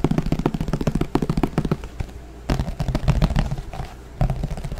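A thin green plastic flying disc, hollow underneath, is held close to the microphone and tapped rapidly with the fingertips. The quick, uneven taps come in fast bursts with short pauses, each a dull, hollow, low-pitched thump that dies away almost instantly.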